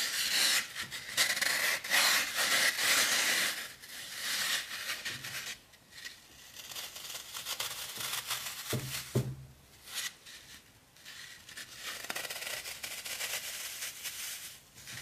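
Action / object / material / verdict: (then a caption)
scrape / green floral foam disc / floral foam / none. A small round disc of solid, brittle green floral foam is held in one hand while fingertips rub and press its surface and poke a hole into it. The result is a bright, dry rasping and rubbing that comes in uneven strokes, loudest in the first few seconds and then softer, with a brief low thump near the nine-second mark.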